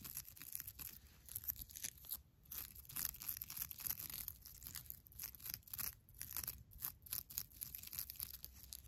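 Long black nails scratch and squeeze a soft, airy beige nylon mesh bath loofah. The result is quiet, bright, crinkly scratching and rustling that comes in irregular bursts with brief pauses between them.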